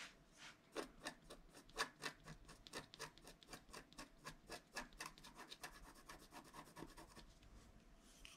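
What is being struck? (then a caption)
Wax-coated paper scratch-art card scraped with a wooden stylus. A wooden stylus scrapes the coating of a flat scratch-art card made of wax-coated paper, working over the trunk and the figure. Quick, unevenly spaced scratching strokes come at about four per second, each a short, bright, dry rasp that stops almost at once. The scraping is quiet, with little low end.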